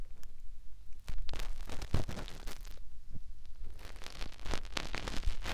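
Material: Silicone.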